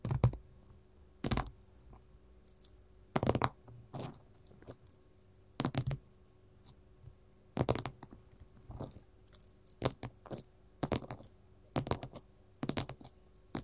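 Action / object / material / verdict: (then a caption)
tap / gold mat / unknown / none. A gold mat is tapped with metal rings worn on the fingers, producing irregular clusters of short, sharp clicks and light scratchy taps. The taps are separated by quiet gaps over a faint steady low hum.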